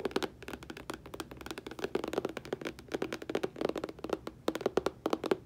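Long painted fingernails tap and scratch a flat, hollow, medium-size rainbow holographic cardboard packaging box for a nail polish collection. The result is a rapid run of about 31 short, dry clicks with a hollow mid-pitched tone around 380 Hz and almost no ring.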